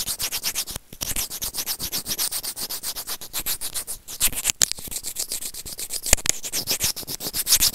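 Serrated plastic tweezers rub and scratch a small, hollow, white plastic earphone inline microphone remote in about thirty quick, rhythmic strokes. Each stroke is a bright, high, scratchy rasp with little low end and almost no ring after it. A few brief pauses break the steady rubbing.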